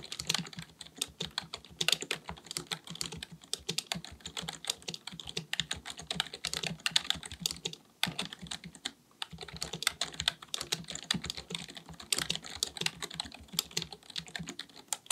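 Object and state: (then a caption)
Plastic computer keyboard. Both hands type continuously and rapidly with their fingertips on a black, full-size plastic keyboard resting on a desk, likely mechanical with a hollow body. The result is a dense stream of bright, sharp clicks with very short decay and little low end, pausing briefly near the middle before the typing resumes.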